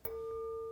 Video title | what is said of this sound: 입 안에 임플란트, 금니, 교정장치 등 있는데 MRI 찍어도 되는건가요? - 찍기전에 제거 해야 할 수도 있어요!! | Here's a wine glass made of thin glass When I flick it, (Dong~) then you can hear this sound, right?